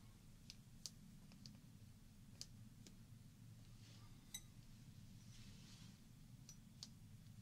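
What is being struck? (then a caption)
Glass shot glass partly filled with water. Long painted fingernails tap a small, hollow glass shot glass partly filled with water, held in the fingers. Sharp, bright clicks with almost no ring sound at irregular intervals over a steady low hum.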